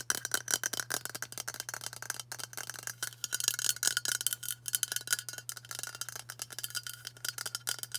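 A hand-sized, hollow cylindrical White Dove aluminium spray deodorant can is held in both hands and tapped quickly with long matte burgundy nails. The result is a rapid, continuous stream of short, bright metallic clicks and ticks that die away almost instantly. A faint, steady low hum runs underneath.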